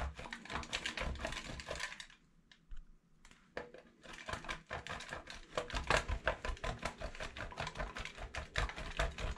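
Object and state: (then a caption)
Bar soap grated on a metal grater. A solid yellow bar of soap is scraped in fast, repeated strokes across a stainless steel box grater over a black bowl of shavings. Quick, bright rasping scrapes come in an uneven rhythm over a low, dull body. They pause briefly after about two seconds, then resume steadily to the end.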